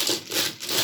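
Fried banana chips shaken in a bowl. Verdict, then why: Crisp. Finished fried raw banana chips are rattled in a bowl, giving a bright, dry, high-pitched rattling crunch. The crisp clatter comes in two bursts, and the sound shows how crisp the chips are.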